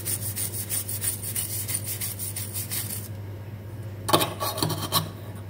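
A small, hollow, perforated stainless steel drain strainer basket, foamy with soap, is held in hand and scrubbed vigorously with a dark bristle brush. Rhythmic, bright, raspy rubbing strokes run for about three seconds over a steady low hum. After a quieter pause, a few sharper metallic scrapes and clicks ring out.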